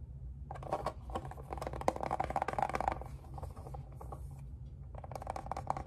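Fingertips and nails tap on the lid and along the rim of a closed, hand-sized, hollow pink plastic heart-shaped case. Quick, dry, clicky taps and light scratchy scrapes come in dense clusters, with a quieter stretch in the middle, over a steady low hum. Each tap stops short with almost no ring.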